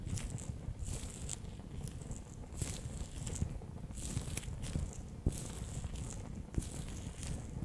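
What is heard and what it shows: A fingertip presses and rolls the orange water beads inside a bear-shaped clear PVC gel pouch, close up. The result is a steady, soft, low squishing and crunching with brief bright crinkles and a few sharper clicks throughout.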